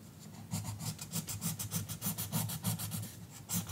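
An orange colored pencil scratches back and forth across the page of an open paper coloring book lying flat on a counter, while the other hand holds the book. Quick, steady, dry rasping strokes come with bright scratchy bursts over a soft low rub.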